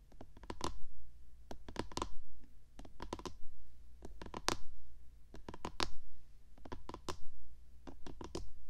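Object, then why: Plastic microphone housing. Long painted fingernails tap and scratch the top of a hollow, white, box-shaped plastic SR3D binaural microphone body resting on a small tripod. Quick bursts of sharp, bright clicks and scrapes come in irregular clusters over a deep, boomy low thump. Each tap dies away almost at once.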